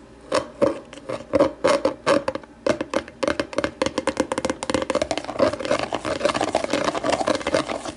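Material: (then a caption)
Plastic. Long nail tips tap the base of an empty, hollow, translucent plastic deli container turned upside down. Short, hollow plastic clicks carry a boxy mid tone that dies almost instantly. The taps start out spaced apart, then speed up into a fast, dense patter.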